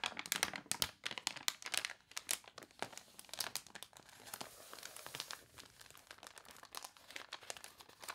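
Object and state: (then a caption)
Glossy paper catalog. Long nails rub the wrinkled pages of a glossy paper toy catalog, and a page is turned. Dense, bright crinkling and crunching crackles come in quick bursts with almost no low end, each snap dying away at once, easing into a steadier rustle in the second half.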